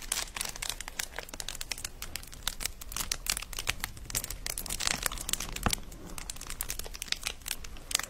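A medium-sized sheet of clear plastic bubble wrap with hollow, air-filled bubbles is held in both hands and squeezed and crinkled with the fingertips next to a fluffy microphone. A steady run of bright, crisp crackles and sharp little clicks continues throughout, with an occasional louder pop standing out from the dense crinkling.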